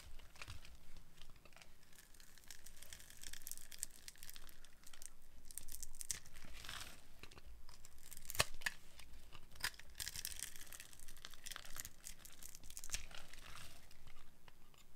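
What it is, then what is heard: Dry glycerin soap bar being carved. A metal blade carves into a dry, solid, translucent yellow glycerin soap bar scored in a grid, breaking off crumbly pieces. The cutting produces a steady run of dry, crisp scraping and crumbling crackles, with bright sharp cracks standing out, the loudest just past the middle.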